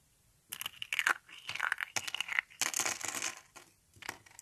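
Thin carved flower shapes of dry teal soap are squeezed and broken by hand. After a brief quiet start, bursts of dry, bright crunching and crackling snaps follow one another, each break ending almost instantly with no ring. The soap crumbles in a series of crisp, brittle crunches.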